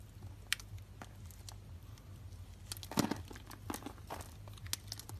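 A metal blade scrapes along the scored end of a solid rectangular lilac bar of dry soap held in the palm, shedding small soap cubes. Quiet, bright crisp crunches and crinkling scrapes come in scattered bursts over a steady low hum, with the loudest cluster near the middle.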